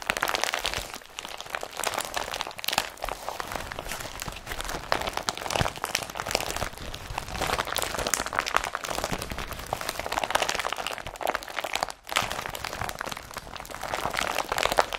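An empty blue woven polypropylene IKEA BRATTBY carrier bag is gripped in fists and crumpled while fingertips rub its surface. The result is a steady, dense crinkling and crunching, with bright, papery texture concentrated in the mids and highs. The sound continues with little pause except a brief dip near the end.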